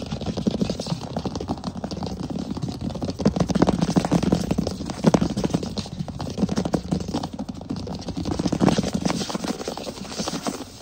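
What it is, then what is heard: Wooden floor. Fingertips rub, scratch and tap quickly across the boards of a flat, solid wood (possibly laminate) floor. A dense, continuous patter of dry, short taps and scratchy rubbing is heard, with a dull low-mid thump centered near 200 Hz, little brightness, no ring, and louder bursts around 3.5–5 seconds and near 8.5 seconds.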